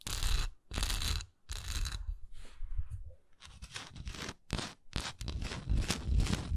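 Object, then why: Wax pillar candle. Long nails scratch a solid wax pillar candle tilted on its side, working over its raised swirl texture and its flat bottom. Dry, bright rasping strokes come in bursts with brief pauses, over a close, heavy low-end rumble, with a quieter stretch near the middle before faster, denser scratching resumes.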